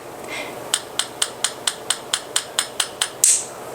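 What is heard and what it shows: Twelve gentle taps on the fat end of a raw chicken egg make a steady run of short, bright clicks, with the last tap louder and more hissy. The shell is not cracked; only the membrane inside is separated.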